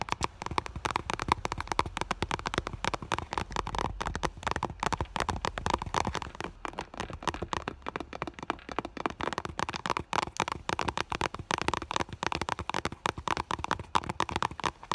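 Long nails tap rapidly on the front of an iridescent clear vinyl school bag, a holographic PVC bag with a fur heart patch. The result is a steady stream of crisp, dry plastic clicks centered around 1 kHz, each dying out almost instantly.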